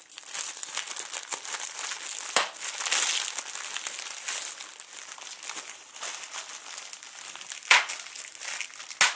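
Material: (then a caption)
Plastic. A clear plastic bubble wrap sheet with air-filled bubbles is scrunched by fingertips, then rolled and squeezed in one hand. A steady bright crinkling fills the clip, broken by a few sharp, louder pops near 2.4, 7.7 and 9.1 seconds.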